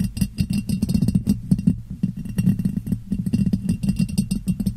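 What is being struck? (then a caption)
Ribbed glass jar. A clear, hollow, empty ribbed glass jar is turned upside down over a microphone and tapped on its ribbed sides with long painted nails. The result is a quick, steady run of short, dry clicks with bright ticks on top of a hollow, boomy low resonance around 170 Hz. Each tap dies away almost instantly.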